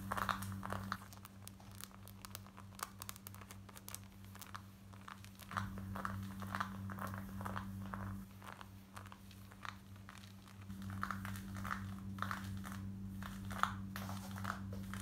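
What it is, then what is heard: Denim jeans being scratched. Long nails scratch quickly over light grey cotton denim jeans worn on the body, moving across the waistband and the front and back pocket area. The result is a fast, uneven run of dry, rasping scratches centred in the midrange with brief bright edges. A steady low hum sits underneath and drops out for stretches.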